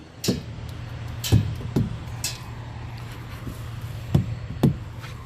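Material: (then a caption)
Rubber. During a pre-trip inspection, rubber truck tires are thumped with a hammer, listening for an even sound. Seven short, dull, low thuds land with almost no ring over a steady low hum. The tires sound even and normal.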